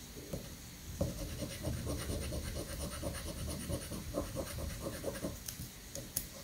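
A coin scratches the coating off a new, thin paper scratch-off lottery ticket resting on a granite countertop. A steady run of dry, gritty scraping strokes with a low rumbling undertone continues throughout, broken by a few sharper ticks and a brief bright click near the end.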